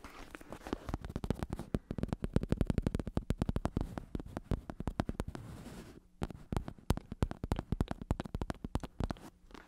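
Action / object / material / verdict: tap / vinyl-covered foam bicycle saddle / vinyl, foam / none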